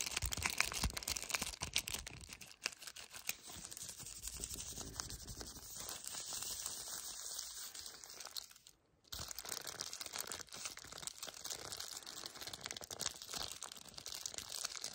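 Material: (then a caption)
Cardboard. Fingertips with painted nails grip and squeeze the flat, yellow printed cardboard sleeve of a hazelnut milk chocolate bar with the bar still inside. Dense, bright crinkling and scratching runs nearly nonstop, with a brief pause of near-silence around the nine-second mark before it resumes.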